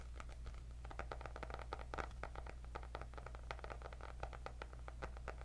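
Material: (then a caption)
Cardboard. Long nails scratch and tap on the cardboard cover of a white hardcover paper notebook with gold dots. The result is a quick, continuous stream of short, dry clicks and scratches over a steady low hum.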